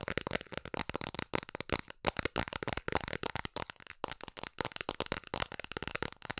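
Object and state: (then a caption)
Plastic container lid. Long nails tap quickly and hard on the face and rim of a round, hollow blue plastic container lid held in both hands. The result is a rapid, continuous stream of sharp, dry clicks and clacks with a hollow tone around 800 Hz, bright high-end crackle, and almost no ring after each tap.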